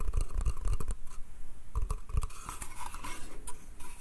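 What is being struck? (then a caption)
Light pine slatted crate. Fingertips and nails scratch and tap the slats of a small, hollow, light pine slatted crate printed with "bath," held in the hand. Quick, dull wooden knocks with low thumps come in clusters early on, then give way to a bright, dry scratching rasp with softer taps. The whole clip stays quiet and close.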